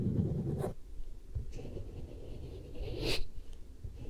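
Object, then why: Vinyl mannequin head. Long nails scratch and grip along the side and cheek of a vinyl or rubber mannequin head held in both hands. The result is a dull, low rubbing drag broken by brief brighter scratchy rasps.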